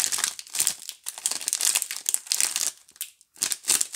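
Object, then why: Soap bars in plastic film wrapper. A Duru multipack of several solid soap bars in a clear plastic film wrapper is held in both hands, then squeezed and rubbed with fingertips and long nails. The film gives off bright, dense crinkling in irregular bursts, with a brief near-silent pause before the last flurry.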